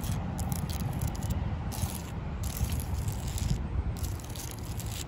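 Long lilac acrylic nails scratch and tap the rough, cracked bark of a large, solid living tree trunk outdoors. The result is a steady, dense scraping rasp with a low, rumbling body, broken by bursts of bright, crackly high-frequency scratches.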